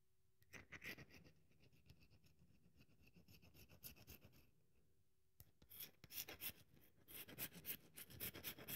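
A solid, dry bar of soap held in the hands has its edges scraped and crumbled with long nails. The result is a run of bright, dry scratching and crackling crumbles, with a quieter, softer stretch before loud, sharp scrapes return in the second half.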